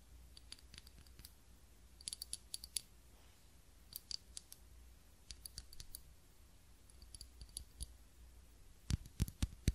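Long nails tap and click on a small ribbed glass candle holder with a lit candle inside. Quiet, bright clicks come in scattered clusters over a low steady hum, each dying away almost at once. A few louder, sharper taps close out the clip.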